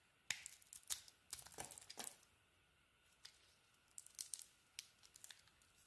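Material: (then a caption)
Soap. A utility knife blade carves and scrapes the mint green coating off a solid orange bar of soap held in the hand. The sound is quiet, crisp, bright scraping and crackling in short, irregular bursts, with brief silent gaps between strokes.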